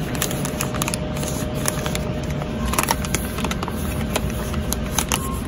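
A full, soft plastic pouch of make-up removing towelettes is held in one hand and squeezed and tapped by fingertips with long nails. It gives a steady run of light crinkles and sharp little taps over a low, constant background rumble.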